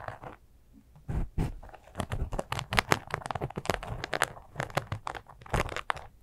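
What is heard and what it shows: Long acrylic nails scratch and grip a small, flat, soft glitter sequin fabric zipper cosmetic pouch that appears empty. After a brief quiet stretch, a rapid run of dry, crunchy crinkling scrapes follows, each burst short and bright with a low thump underneath and no ring afterward.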